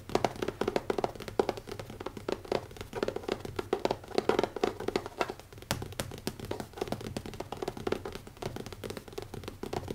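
Fingertips tap quickly on the closed black leather cover of a notebook with an elastic band, resting on a wooden table. A steady stream of soft, dull taps carries a muted tone around 400 Hz, and each tap stops almost at once with no ring.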